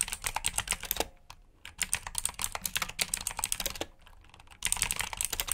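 Fast two-handed fingertip typing on a full-size black plastic mechanical keyboard with backlit keycaps and clicky blue switches, resting on a brown mat. Dense bright clicks and clacks come in bursts, with short quieter pauses around one and four seconds before the rapid typing resumes.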